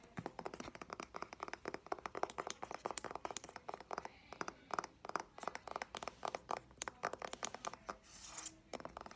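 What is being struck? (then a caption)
Paperback book with card cover. Fingertips and nails tap and scratch along the spine and edge of a medium-sized green paperback novel with a card cover and a solid paper block, held in the hand. Dozens of quick, dry, papery taps come in rapid bursts, each dying away almost instantly with a light mid-range click. Near the end, a longer soft scratching rustle breaks up the run of taps.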